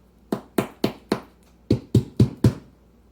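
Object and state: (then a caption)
Baked-through bread loaf, hollow. Taps on the bottom of a freshly baked French loaf give eight short, dull, hollow knocks in two groups of four with a brief pause between. The hollow sound shows the loaf is baked through.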